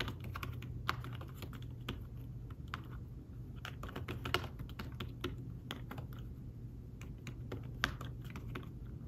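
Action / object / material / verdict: tap / thin fabric-covered folio keyboard / fabric / none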